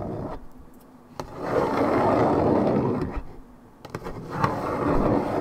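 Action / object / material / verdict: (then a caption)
scrape / coated paperboard juice carton / paperboard / none. Long nails scratch the surface of a hollow Minute Maid 1.75 L coated paperboard orange juice carton of unknown fill. Two long swells of dense, papery scraping fill the low and middle range, separated by a quiet pause. A few sharp ticks punctuate the scratching.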